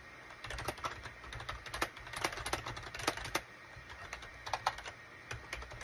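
Fingertips type on a full-size gray and cream SHIPADOO K600 wired USB plastic keyboard with a hollow plastic case, resting on a desk mat. A steady run of short, bright, clacky keystrokes rises over a faint low hum, with a few louder taps standing out. Each click dies away almost instantly.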